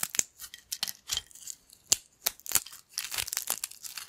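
Fingers of both hands break and crumble thin, crispy yellow corn chip pieces on a black plate. The result is an irregular series of sharp, bright crackles and snaps with almost no low end, each dying away instantly, separated by brief quiet gaps.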